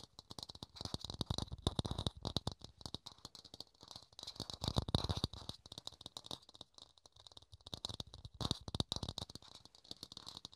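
A small, hollow, empty clear plastic dome lid is held in the hands and tapped rapidly with the fingertips and nails. The result is a dense stream of quick, dry clicks and hollow thumps with a bright plastic edge. The taps come in flurries that swell and thin out, and each one dies away almost instantly.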